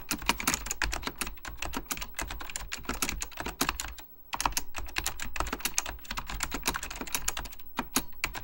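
Fingertips type rapidly on an Apple Extended Keyboard II, a plastic mechanical computer keyboard with beige plastic keycaps and a hollow plastic case. Dozens of short, bright clacking key taps come in a steady stream, with a brief pause near the middle before the typing resumes.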